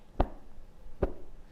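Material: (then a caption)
Cotton. Cotton quilting fabric is given two sharp tugs along the lengthwise grain, making two short, crisp snaps about a second apart. The snap sounds higher because the threads are tighter in this direction, making it the grain that gives a more accurate cut.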